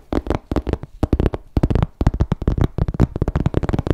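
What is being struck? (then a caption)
Embossed leather crossbody bag. Fingertips tap and scratch a small grey croc-embossed leather MK crossbody bag with a flap, held in both hands. A rapid, uneven run of soft, dull, low thuds and brushing scrapes is heard, each dying out at once with no ring.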